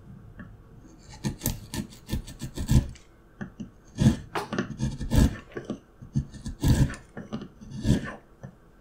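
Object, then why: Wooden carving block. A steel carving knife held in the fingers scrapes and cuts into a solid, light-colored, palm-sized wooden block with a paper pattern glued on top. A quick series of short, raspy scraping strokes comes in uneven bursts, each with a dry, low body and a brief bright edge that stops almost at once.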